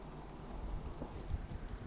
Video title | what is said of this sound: DO NOT BUY The Apple Magic Keyboard (Get This Instead) 😡🤦🏾‍♂️ | I'm shaking it right now. Can't hear anything rattling.